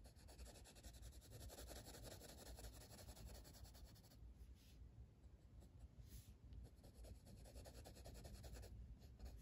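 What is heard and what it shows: A blue wooden colored pencil rubs steadily across a flat paper page of an open coloring book printed with a stained-glass flower design, lying on a table, shading it in. A continuous soft, papery scratching of quick back-and-forth strokes is heard, with low rumble underneath and a lighter, quieter stretch in the middle before the dense shading resumes.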